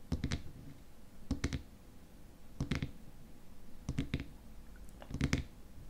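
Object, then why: Small glass cream jar with plastic lid. Fingernails tap and scratch the top of the frosted white plastic lid on a small glass cream jar filled with cream. Five evenly spaced bursts of quick, light clicking taps stand out over a faint scratching hiss. Each tap has a soft, low knock and a brief bright tick that dies away almost instantly.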